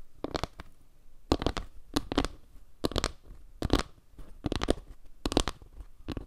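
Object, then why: Round board of wooden log slices. Long nails scratch across the wood slices and dark center of a solid, round board made of wooden log slices, with the board tilted toward the mic. Repeated short bursts of dry, scratchy rasping come in quick clusters separated by brief pauses. Each stroke stops almost at once, leaving a low, faint background between bursts.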